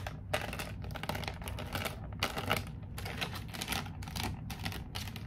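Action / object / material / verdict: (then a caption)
tap / clear plastic blister pack on a cardboard card / plastic / none. A medium-size toy figure set, sealed in a hollow clear plastic blister pack on a printed cardboard card, is held up in both hands and tapped and scratched with long painted nails. Fast, dense bursts of bright, crackly plastic clicking and scraping come in clusters separated by brief pauses, over a steady low hum.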